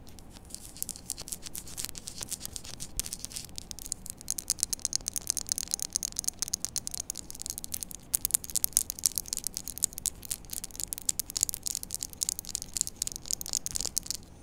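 A small, solid white-and-blue plastic poker chip is held and turned in both hands while long nails scratch and tap its surface and rim. The result is a steady, dense stream of quick, dry, bright clicks and scratchy ticks, with very little low-end and almost no ring after each tap.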